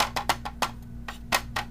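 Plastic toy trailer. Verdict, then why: Solid. A series of light taps on the sturdy plastic trailer of a BTS-01 Transformers Classics Optimus Prime toy give short, dry, bright clicks centred around 1 kHz that die away almost instantly over a faint low hum. The trailer sounds fairly solid rather than flimsy, though not as stern as the City Commander.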